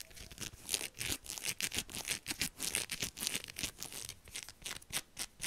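Long acrylic nails scratch quickly over the fingers and palm of a black knit heat glove with pink silicone dots, laid flat and held. It makes a rapid, uneven string of short, dry, bright scratching bursts with very little low end.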